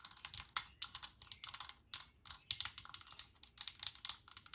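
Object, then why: Metal aerosol can with plastic cap. Long nails tap quickly on a Lysol metal aerosol can, mostly on its plastic cap, while the can sits on a cloth-covered table. The result is a rapid, uneven run of sharp, bright, dry clicks with almost no low end and no ringing after each tap.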